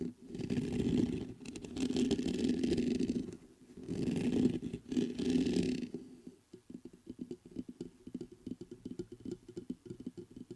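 Fingertips scratch the grille of a black metal USB microphone in three long, dense rasping bursts, with a strong low-mid scrape and a fainter bright hiss. After about six seconds, the scratching gives way to a quick, uneven run of short, dull taps on the metal body until the end.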